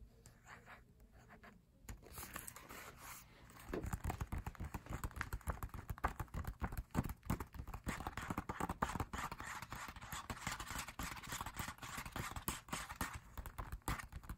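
Fingertips tap quickly across the pages of an open matte paper lyric booklet held in hand. Soft, dull taps start quietly, then after a few seconds turn into a dense, uneven flurry of rapid papery taps with a low, muffled thud to each one.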